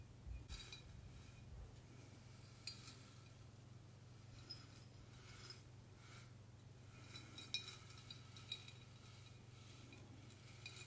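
A large clear glass mason jar partly filled with small pink plastic confetti is tilted back and forth and shaken in both hands. The confetti slides and rattles against the glass in soft, hissy rustles, broken by sharp, bright clinks. A steady low hum sits underneath throughout.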